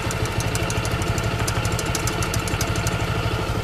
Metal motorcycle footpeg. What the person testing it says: nakita ko na dito lang pala kumakalansing